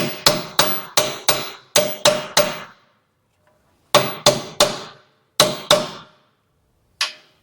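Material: Steel.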